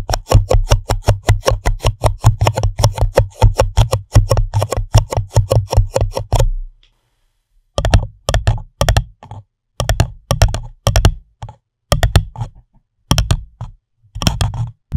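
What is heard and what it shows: An empty pink printed paper cup sits upside down over the microphone while fingernails tap and scratch its hollow base and walls. A fast, steady run of dry taps with a boomy, low, hollow thud lasts about six seconds. After a short silence, the taps return in quick separate bursts.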